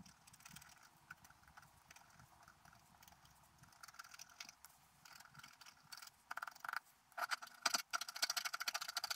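A wooden stylus scratches details into the coating of a flat, black-coated scratch art paper sheet lying on a table. Quiet, bright, dry scraping strokes come in short irregular bursts, growing louder and denser in the last few seconds.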